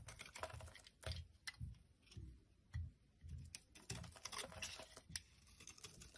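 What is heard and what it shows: A metal blade scrapes and chips flakes off a solid, palm-sized rectangular blue bar of soap held in the hand over a wooden surface. Quiet, irregular, crisp scratching and crackling with bright, sharp clicks is heard over soft low thuds, with no ringing.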